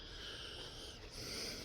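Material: Nothing is struck.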